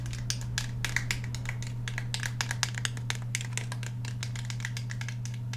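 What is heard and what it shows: Fingernails rapidly tap and scratch on the grip and slide of a black Glock 17 handgun with a polymer frame and steel slide, held vertically in both hands. A dense run of quick, bright clicks and scratchy ticks carries on throughout over a steady low hum.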